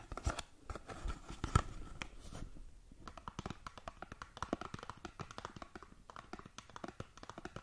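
Long nails scratch and tap across the faces of a small rectangular cardboard skincare box held in front of the mic. The result is a quiet, dense run of dry, crinkly scratches and short clicks with a faint bright edge, heaviest in the first couple of seconds and then settling into steadier, rapid strokes.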